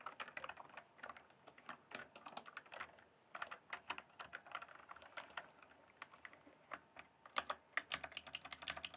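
Fingertips type steadily on a full-size backlit plastic mechanical keyboard with a hollow case. Quick, sharp, clacky keystrokes overlap in an uneven run for nine seconds. Each stroke centres around 1.2 kHz with a bright top, dies almost at once, and has little low end, with a few louder, brighter taps near the end.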